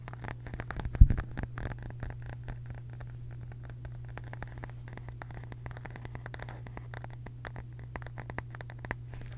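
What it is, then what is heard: Round wooden case tapped with fingernails. A small, round, flat wooden (bamboo-like) case or lid that appears solid is held in both hands close to the mic and tapped and scratched with long pink acrylic nails. The result is a fast, dense stream of short, dry clicks and scratchy ticks, with one louder tap about a second in. A steady low hum runs underneath throughout.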